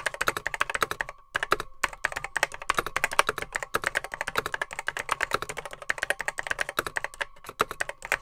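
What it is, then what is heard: Plastic mechanical computer keyboard being typed on. Fingertips type rapidly on a beige plastic Apple M0110B vintage keyboard with grey plastic keycaps, its hollow case holding mechanical switches. A steady stream of sharp, dry clacks with a hollow midrange tone runs throughout, pausing briefly near the 1.5-second mark. Each keystroke dies away almost instantly.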